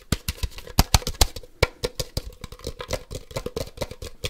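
Fingertips and nails tap quickly on the white half shell of a hollow plastic Ultra Ball Poké Ball toy. The taps come as a fast, uneven run of short, dry clicks with a low body and a bright edge, each dying away almost at once, a few striking noticeably harder than the rest.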